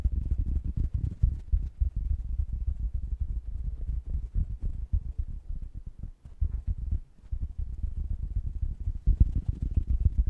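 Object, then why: Foam microphone windscreen. Fingertips of both hands rub and scratch across a large, soft, porous black foam or knit windscreen covering an oval microphone head, with a second covered microphone below. The result is a dense, muffled stream of deep rumbling scrapes and thumps, with almost no high end. It dips briefly around the middle and swells louder near the end.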